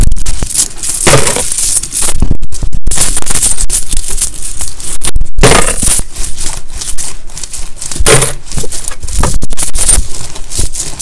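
Gloved fingers sweep, stir and rub through a large loose pile of dirty mixed US coins, copper pennies and nickel-clad coins, spread on a towel. The result is a dense, steady clinking and jingling of small solid metal coins with a soft rustle underneath, broken by brief pauses near 2.5 and 5.2 seconds.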